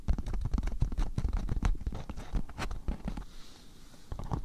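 A thin, patterned beeswax-coated cotton food wrap is stretched over a microphone while fingertips and nails scratch and crinkle its waxy surface. The result is a dense run of short, dull, low-heavy crackles and scrapes with almost no ring. The sound thins to quieter rustling near the end before a few more crinkles.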